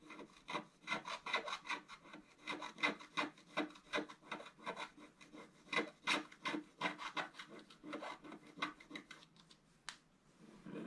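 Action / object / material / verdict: scrape / scratch-art paper card scraped with a wooden stylus / coated card / none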